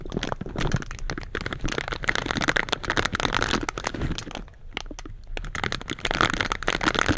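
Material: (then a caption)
Metal mesh. Purple silicone scrubber gloves scratch the metal mesh grilles of two slim black microphones, making dense, close crackling and crunching with rapid clicky bursts over a low rumble. The scratching eases briefly just before the five-second mark, then picks back up to full intensity.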